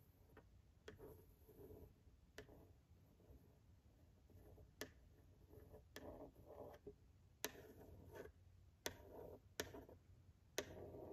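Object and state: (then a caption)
Glass of a framed picture. A pencil tip traces along the torso and arm lines of a drawing behind the glass pane of a framed picture with a wooden frame. Soft, dry scraping runs across the glass, broken by eight sharp, bright ticks that stop almost instantly. The overall sound is quiet and close.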